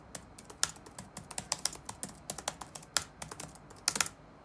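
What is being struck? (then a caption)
Plastic laptop keyboard. Fingertips type on the black plastic keycaps of a dark laptop keyboard resting on a wooden desk, producing about 20 quick, bright clicks in an irregular rhythm. Each tap is short and dry with almost no low end, and a few keystrokes land harder and louder than the rest.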